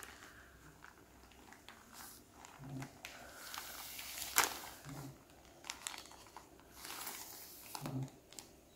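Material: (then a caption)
Plastic. Fingertips press, rub and crinkle the surface and zipper edge of a flat frosted plastic zip-lock bag holding a folded T-shirt, lying on a wooden table. Soft, bright plastic rustles and crinkles come in uneven bursts, with one sharper crackle near the middle.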